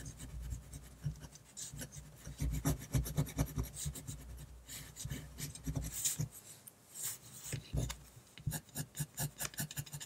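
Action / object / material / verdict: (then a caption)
scrape / paper sheet scratched by a metal pen nib / paper / none. A fine metal pen nib scratches a flat white paper sheet in dense back-and-forth hatching while a tree is drawn, with the hand and pen staying on the same sheet throughout. Rapid, dry rasping strokes follow one another closely, each a short bright scratch over a soft low rumble, with a brief quieter pause near the middle before the hatching resumes.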